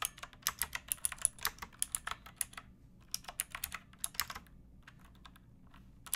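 Fingertips with long nails type on a pink backlit mechanical keyboard with plastic keycaps resting on a wooden block. Quick runs of short, bright clacks come with a brief pause partway through. The tapping then thins out to softer, sparser keystrokes before a final few clicks.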